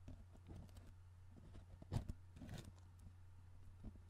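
Fingertips tap and work the plastic lid on top of a tall, hollow, cylindrical cardboard Pringles chip can held in one hand near the mic. Soft, dull taps and scratchy rustles come in irregular bursts, with the loudest cluster around the middle. A steady low hum runs underneath throughout.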